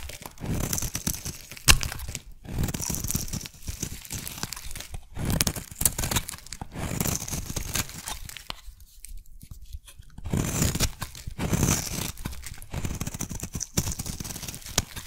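A metal blade shaves a solid pink oval bar of soap into curls, making a run of crisp scraping, tearing strokes with bright shaving texture over soft low thumps. The strokes come in steady bursts with a short quiet pause partway through.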